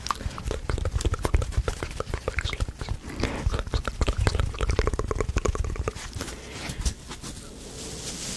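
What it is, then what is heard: Foam sponge being squeezed and scratched. Fingertips squeeze and scratch the surface of a small, soft, porous rectangular blue foam sponge held in both hands in front of the microphone. The result is a rapid, dense run of short, crackling squishes and scratches with a heavy low thump. After about six seconds it thins to a few scattered scratches over a quiet, airy hiss.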